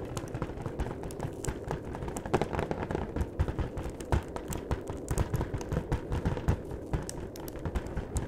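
Rapid fingertip tapping on the top and edges of a long, flat cardboard chocolate box held horizontally. The result is a steady patter of dull, hollow, low taps that die away almost instantly, with occasional brighter clicks.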